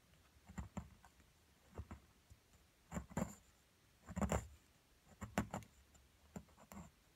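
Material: Plaster.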